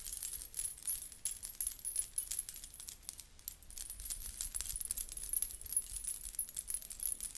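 A blue fabric belly dance hip scarf covered in rows of small thin metal coins and beads is held up in both hands and shaken, so the coins jingle against each other. The result is a soft, continuous, bright shimmering jingle made of many quick metallic clinks in uneven bursts, with a faint low rumble underneath throughout.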